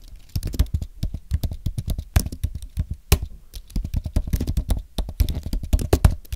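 Both hands type with their fingertips on a thin, solid white Apple Magic Keyboard with an aluminum base and plastic keys. The result is a steady stream of short, soft key taps that sound deep and muffled, with little brightness and no ring after each tap.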